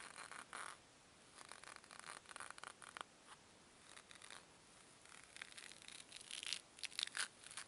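Two small solid white foam cubes are squeezed hard and rubbed together under long nails, so the foam compresses. The result is a quiet run of bright, scratchy rubbing and crackling bursts with a few thin squeaks, separated by short pauses.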